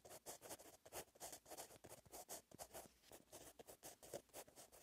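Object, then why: Gel pen with metal tip on lined paper notebook page. A blue metallic gel pen with a metal tip, held in the fingertips, scratches out handwriting line by line on the same lined paper notebook page. Quick, repeated dry scratching strokes come in short bursts with brief gaps, carrying a raspy midrange around 580 Hz and a bright, hissy top. The strokes are soft and close, with no ring after each one.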